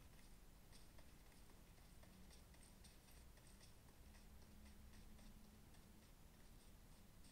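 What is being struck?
Smartphone with glass touchscreen.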